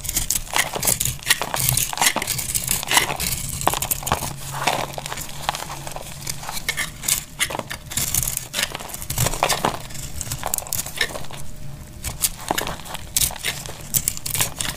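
A solid, hand-sized bar of dry purple (lilac) soap is held in a hand with long pink nails and shaved with a snap-off utility knife blade, its flakes piling up on a grey tray. Dense, rapid scraping and carving strokes produce bright, crisp crackles and crinkly snaps over a low rumble, with short dry bursts that die away almost instantly.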